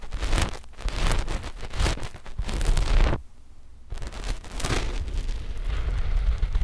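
Long fingernails of both index fingers scratch a flat, dark black knit fabric sheet laid over the microphones. The result is a dense, rasping scratch with a heavy low rumble, broken by a short pause of near silence before the scratching resumes.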